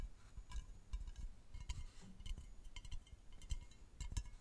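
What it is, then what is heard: Aluminium aerosol can. A medium hollow aluminium aerosol deodorant spray can with a paper-like printed label is held horizontally in front of the mic and tapped and scratched along its body with fingertips and nails. Quiet, irregular taps give short, bright metallic clinks over soft low thumps, with light scratching in between.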